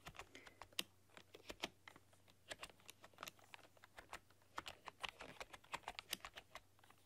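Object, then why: Plastic computer keyboard. Long dark-polished nails and fingertips type on a full-size plastic computer keyboard with black keycaps and a rainbow RGB backlight, pressing and clicking the keys. The result is a quiet, irregular stream of short, bright plastic clicks and taps with no ring, over a faint steady low hum.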